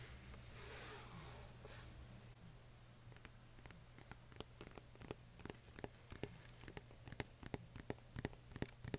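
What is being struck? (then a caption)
Cardboard game box lid. Fingertips and nails work over the printed lid of a flat, hollow cardboard box for the Lost Cities card game, held up in the air. A soft, bright scratching swish comes first, then about two dozen quick, dry, crisp taps follow, with a steady low hum underneath.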